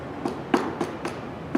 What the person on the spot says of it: if you hear a hollow spot or something that is not right, or you see any cracks on the outer shell, it needs attention